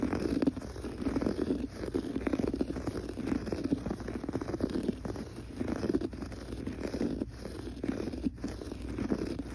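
Fingertips scratch quickly across gray looped or textured pile carpet on a floor, beside a metal threshold strip. The result is a dense, continuous, soft rasping scratch that sits mostly in the low-mid range with little brightness, rising and falling in short bursts with brief pauses.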